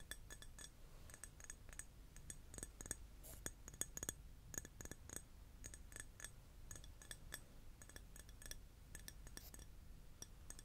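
Glass is tapped over and over, giving quick, light clinks with a short, bright ring. The taps come in an irregular stream over a faint low background hum.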